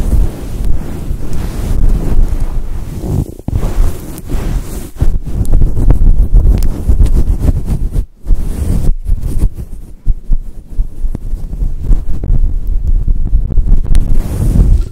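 Long acrylic nails and fingertips scratch and rub a soft, fist-sized, fluffy grey-white synthetic fur windscreen over a microphone. The result is a loud, deep, muffled rumble of rustling and scraping, concentrated in the low end, with brief silences near 3.5, 8 and 9 seconds.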